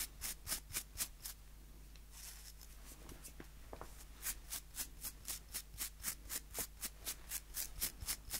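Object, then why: Wooden nail brush with plastic bristles. Fingertips flick and scratch the bristle rows of a small solid wooden nail brush with white plastic bristles, held in both hands. Quick, bright, crisp flicks come in a steady rhythm of about four per second, with about 21 in all. They pause for a few seconds of softer scratchy rubbing, then resume for a longer run.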